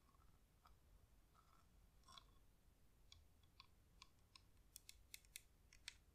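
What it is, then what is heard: Wax-coated LED flameless candle. A cream, pillar-shaped, hand-sized LED flameless candle, with a real wax outer layer over a hollow plastic battery housing, is held in both hands and tapped on its side and rim with long acrylic nails. The result is a quiet series of short, dry clicking taps with no ring, growing sharper and brighter toward the end over a faint low rumble.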